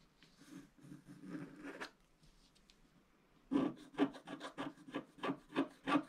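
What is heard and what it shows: A wooden stylus scratches short strokes near the lower edge of a flat, black-coated scratch-art card. Soft, dry rasping fills the first two seconds, then a brief quiet pause. Louder, quick scratchy strokes follow in an uneven rhythm until the end.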